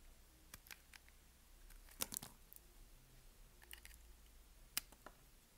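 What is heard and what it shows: A narrow solid piece of white bar soap, held in the hand, is scraped and cut with a utility knife blade. Sharp, bright crunchy clicks and short scraping rasps come at an irregular pace over a quiet low background, and the strongest snaps fall around the 2 and 4.8 second marks.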